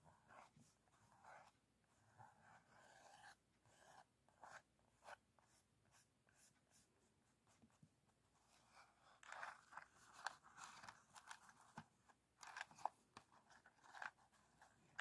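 Fingertips and short nails tap and scratch the top surface of a small, old, printed cardboard matchbox, closed and likely full of matches, held on a table. Quiet, dry scratching alternates with sharp clicky taps that grow louder and brighter in the second half, each dying away almost instantly.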